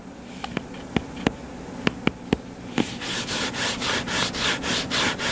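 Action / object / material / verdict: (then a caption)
scrape / paperback book cover / paper / none. Sharp, dry taps land on a solid purple-covered paperback book lying flat: about eight quick clicks spread unevenly over the first few seconds over a low background hum. Fingernails then scratch the cover in a steady back-and-forth rhythm, each stroke a bright, hissing rasp that swells and fades.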